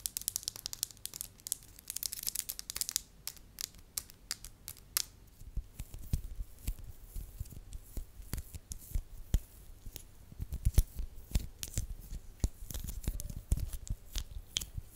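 A small, solid beige lump of soft wax is scratched and tapped with long acrylic nails, then flattened into a thin sheet. It starts with dense, bright crackling and scratching, then moves to a quick stream of sharp nail clicks over soft, low thumps.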